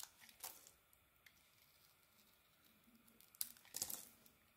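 A solid pink bar of soap with a brown rim, held in the hand, is scraped and cut with a metal blade. Quiet, bright crackly scraping runs throughout, with short, sharp crunching bursts near the start and a louder cluster of crisp cuts toward the end.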